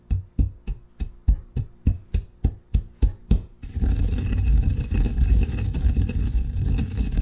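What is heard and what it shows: A granite pestle works coffee grounds in a granite mortar. It first makes about a dozen quick, evenly spaced low knocks, then settles into a continuous, dense, rumbling grind as it moves in a circular motion.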